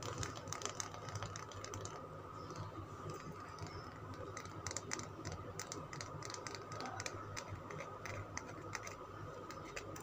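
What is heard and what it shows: Long nails tap and scratch a solid green Lux soap bar with a sparkly, scraped surface. Quick, sharp clicks and dry scratching rasps come in a steady flurry over a faint, constant background hum, each tap dying away almost instantly.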